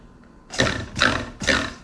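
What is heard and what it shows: A cup of soap-making oils is tapped three times after its air bubbles have been worked out, giving three short, dull knocks. The sound counts as low and deep, suggesting few bubbles remain.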